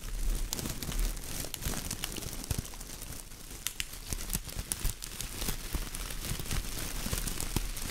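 A bunch of silver foil-plastic tinsel garland, held in one hand, is crumpled and crinkled by the fingertips. The sound is a steady, dense rustle scattered with sharp, bright crackles and ticks that rise and fall in loudness over a low underlying rumble.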